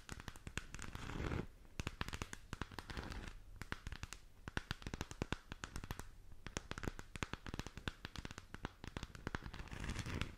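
A hollow plastic galaxy moon lamp sphere, lit purple, is held in both hands and scratched and tapped with long teal nails. Dense, crisp clicks and crackly scratches come in quick bursts over a low, hollow rumble, each tap dying away almost instantly. The low body swells louder at the start and again near the end as the sphere is lowered close to the mic.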